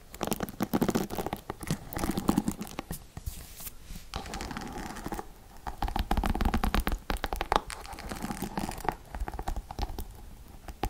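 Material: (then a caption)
Plastic. Long nails scratch and pluck the black plastic bristles of a paddle hairbrush with a silver plastic frame and a rhinestone back. The result is a dense, continuous stream of quick scratchy clicks and rasps with a soft, low-heavy body and little high sparkle.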